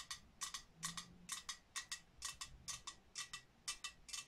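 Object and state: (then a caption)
Ceramic snowman cookie jar. Long nails tap the surface of a medium, hollow, glazed ceramic snowman cookie jar with a top-hat lid. Nineteen quiet, bright, clicky taps fall in loose pairs at an uneven pace. Each tap dies away almost at once.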